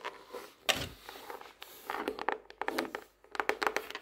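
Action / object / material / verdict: tap / hardcover notebook cover / cardboard / none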